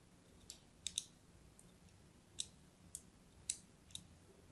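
A thin pointed blade scratches scoring lines across the surface of a solid orange-and-white striped bar of soap held in the hand. Seven short, sharp, bright clicks and scrapes sound at irregular intervals over a quiet background, each dying away almost at once.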